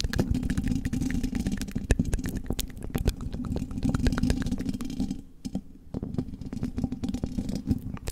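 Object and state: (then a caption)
Metal microphone grille. Long red-tipped fake nails on both hands tap and scratch the hollow metal mesh grille of a silver condenser microphone. The result is a dense, fast run of dry, clicky taps over a low, rumbling scrape, with energy concentrated in the low end and very little bright content. The sound briefly thins out and quiets around the five-second mark before the tapping picks back up.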